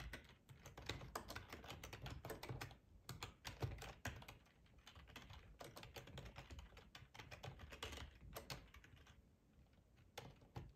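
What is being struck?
Plastic ergonomic computer keyboard.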